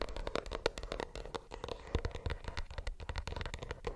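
A plastic earbuds case is tapped with the nails in a quick, uneven run of many light taps. Each tap is a short, dry click with almost no ring, with some low thump and a faint tone around 465 Hz.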